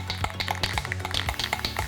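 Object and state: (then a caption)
Aerosol spray can with rattling mixing ball. An aerosol can of red brake caliper paint is shaken hard before spraying, and the small mixing ball inside rattles rapidly with sharp, bright clicks. The can is shaken until the ball can barely be heard, which is the normal way to mix the paint.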